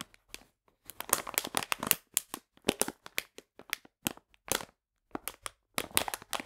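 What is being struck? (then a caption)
Plastic bag filled with polenta. Fingertips and nails crinkle and scratch a full plastic bag of polenta held on its side. Bright, dry crinkling and scratching come in quick, clustered bursts separated by short silent pauses, with little low end and almost no ring after each crackle.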